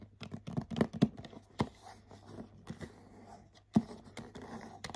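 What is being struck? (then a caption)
Printed cardboard box. Short nails scratch and tap the glittery front of a medium printed cardboard bath set box. Soft, dry scratching runs underneath a scatter of sharp, quick taps, with a few louder knocks standing out. Each tap dies away almost instantly, leaving a low, muffled papery texture.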